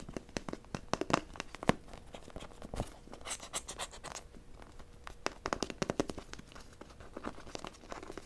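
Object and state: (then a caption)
Plastic toy figure. Long nails rapidly tap and scratch the surface of a small blue plastic robot-shaped toy held in hand. Quick, sharp clicks mix with dry scraping and crinkly scratches in a fast, uneven rhythm, with the clicks dying away almost instantly.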